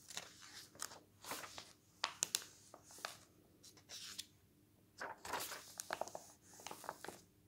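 A flat hand rubs along the pages of a glossy paper travel magazine lying open on a wooden table, and fingers turn the pages. Bright, crisp rustling comes in bursts, broken by sharp paper snaps and crackles, with quiet gaps between them.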